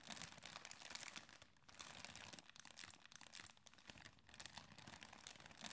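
A thin, clear, empty plastic bag with a zip seal is held up and crumpled and crinkled between fingers with red-painted, medium-length nails. The sound is a dense, bright, crackling crinkle that runs almost continuously, with brief quieter lulls between bursts.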